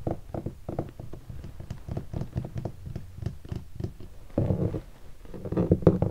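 Fingertips and short nails tap and scratch the lid of a closed, hollow black hardshell guitar case covered in textured leatherette and stickers. A quick run of dull, low, hollow taps with almost no ring is followed by louder stretches of scratching near the end.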